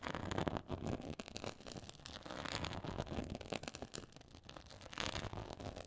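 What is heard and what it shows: Long acrylic nails scratch a black quilted faux leather board with a raised pyramid texture. Dense, continuous crackly scratching rasps across the surface, with brighter bursts of friction over a low rumbling undertone.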